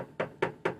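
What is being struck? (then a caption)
Sauna cabin wall. Knuckles knock on the side wall of a full-spectrum light therapy infrared sauna cabin. Four short, dull knocks land about a quarter second apart, each a hollow midrange thud that dies away almost at once.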